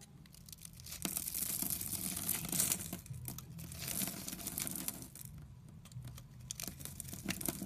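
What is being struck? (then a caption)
Soap bar. A utility knife blade carves chips off the surface of a solid, palm-sized rectangular soap bar with green and white stripes, held in the hand. Crisp, bright scraping and crackling shavings come in a dense run of short strokes over a low, soft undertone. The cutting is loudest and busiest through the middle, eases off for a moment, then picks up again at the end.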